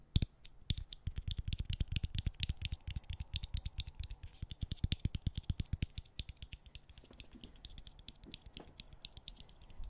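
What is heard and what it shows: A bottle cap is tapped in a fast, steady run of sharp clicks, each with a dull low knock and a bright, rattly tick that stops almost instantly. The taps stay dense and even for about six seconds, then grow softer and sparser toward the end.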